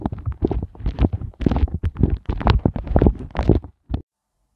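Fingertips and nails tap, scratch and press the individual small hollow hearts of a pink silicone heart ice cube mold. The result is a quick, irregular run of soft, muffled, low thumps and squishy pops that die away almost instantly, with faint scratchy detail on top. The sounds come in dense bursts and stop shortly after four seconds.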